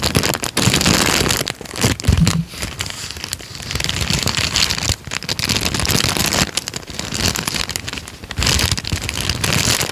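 A small folded peach paper sheet is squeezed and crinkled with the fingers of both hands. It makes dense, bright crackling and rustling that stays continuous for the whole clip, with brief softer dips between bursts.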